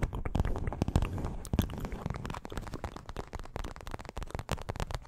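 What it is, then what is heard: Paperboard milk carton. A small, hollow, printed paperboard milk carton is held close to the microphone and tapped and scratched with long acrylic nails. The result is a rapid, irregular run of dull, low, thumpy taps mixed with soft crackly scratching, each tap dying away almost instantly.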